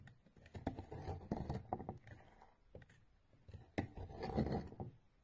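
A steel knife repeatedly shaves and scrapes crisp flakes off a solid orange bar of soap held in a hand with blue nails, and the shaved layers pile up. The result is a quick run of dry, crackly scrapes, low and muffled with little brightness, in uneven bursts that swell, fade and return.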